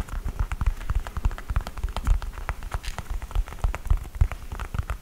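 Fingernails scratch the upper and heel of an empty cream knit textile sneaker with a rubber sole, held up. Quick, irregular scratchy taps and rubs follow one another throughout, each short and dry with deep thumps beneath a thin bright rasp.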